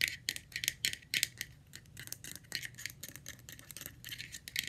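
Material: Plastic.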